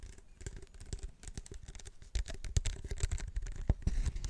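A large hollow waxed-paper soda cup with a plastic lid and straw is held in both hands and tapped and scratched on its sides with fingertips and nails. Irregular, quick taps and scratchy rustles come with dull, hollow low thumps and bright clicks. The sounds grow louder in the second half.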